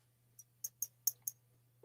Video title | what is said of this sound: Monday Mix Up join RandyatMoonValleyCrafts, Maria California Thrifter, Angie's Oddities & I! | it sounds solid when you tap it